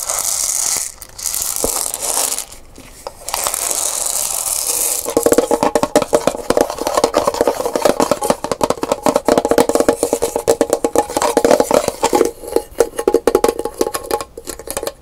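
A brown painted gourd maraca, hollow and about palm-sized, is held in both hands while long pink nails tap and scratch its round body. The first few seconds bring soft, bright scratching; then a fast, dense run of dry, hollow-sounding taps centered in the low mids fills the rest of the clip, each tap dying away almost at once.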